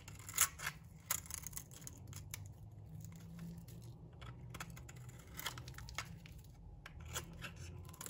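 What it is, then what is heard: Dry bar soap being shaved. A metal blade shaves thin strips off a solid, dry green bar of soap. Crisp, bright scraping and cracking strokes, quick and uneven in spacing, sit over a steady low hum. Each stroke stops short with almost no ring.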